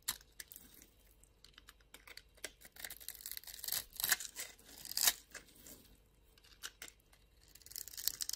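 A utility knife blade scrapes and shaves the surface of a small solid blue-and-white striped bar of soap held in the hand. The sound is a quiet, irregular series of dry, crisp scraping and crackling strokes, mostly bright and high with almost no low end. It swells into louder crunchy shaves near the middle before thinning out.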